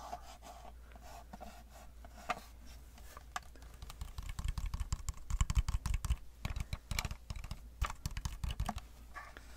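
Long manicured nails tap rapidly on the flat face of a flat silver metal case, palm-to-hand sized and looking hollow, held up in the air. The taps give quick, dry, typing-like clicks that build into denser, louder bursts toward the middle, over a steady low hum.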